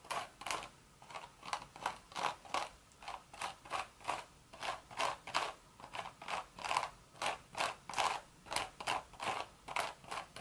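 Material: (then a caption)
Straw. Long red nails scratch and tap the hollow crown and side of a cream woven straw hat. The result is a series of short, dry, raspy bursts centered around 1 kHz with bright hiss on top, repeating at an uneven pace with almost no low end.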